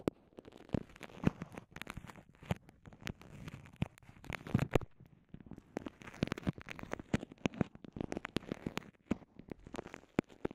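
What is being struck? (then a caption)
Soft vinyl zip pouch. Long nails and fingertips squeeze, crinkle and scratch a small, transparent, soft vinyl zip pouch that holds two earphone microphones and is otherwise empty. The result is a dense, steady stream of sharp crackles and clicks over a soft rustling bed, weighted toward the low end with quick, dry pops that stop instantly.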